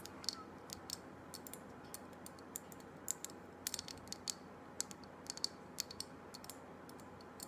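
A small glass jar candle with a glass lid, filled with solid pale green wax and wrapped in a paper label, is held in hand and tapped and clicked with long black acrylic nails on its glass sides and lid. Quick, sharp, bright clicks land at an uneven pace, each dying away almost instantly over a steady low background hiss.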